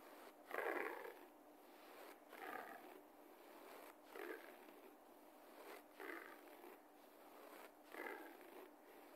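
Fingertips and short nails of the left hand scratch a low-pile beige carpet floor again and again while the right hand rests on the carpet. Five soft, dry rasping bursts rise and fade at a slow, uneven pace, their scratchy texture sitting in the midrange over a faint steady hiss between strokes.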